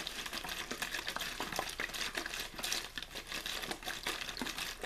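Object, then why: Thin plastic water bottle. A clear plastic water bottle with a blue label, hollow and mostly empty, possibly with a little water left at the start, is held in one hand and squeezed and crinkled with the fingers. Dense, bright crackling and crinkling pops come in quick, uneven bursts with almost no low end, each snap dying away almost at once.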